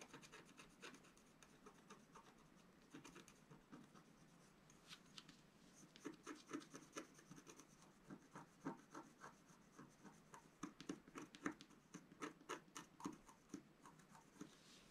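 A flat black coated scratch art paper sheet lying on a table is scratched with a wooden stylus. Quiet, dry scraping strokes come in irregular bursts, growing louder and denser in the second half with short bright crackly edges.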